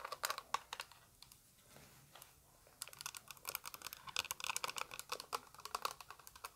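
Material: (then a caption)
Plastic. Long white acrylic nails tap a small, flat, hollow, translucent orange plastic eyeshadow palette case held in the hand. The result is a few dozen quick, bright, dry plastic clicks with almost no ring, a brief near-silent pause early on, then a denser run of taps.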